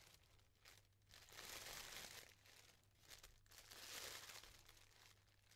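Fingertips and nails fluff and separate the thin layers of a yellow tissue paper pom-pom flower, producing soft, bright, airy crinkling and rustling. The crinkles swell into two louder bursts of crackling paper before easing back to quieter rustles over a faint steady low hum.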